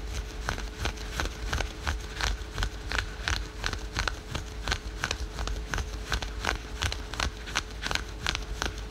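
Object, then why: Spandex-polyester stretch fabric leggings. Fingernails rapidly scratch patterned spandex and polyester yoga pants worn over the knee. The result is a quick, irregular run of short, dry, bright rasps, about three per second, over a low rumble and a faint steady hum.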